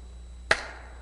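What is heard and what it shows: A structurally shaped piece of polymer speaker cone material is struck once, giving a short, dull, damped tap. Its resonances are reduced and moved lower in frequency compared with aluminum, though some remain and fade quickly.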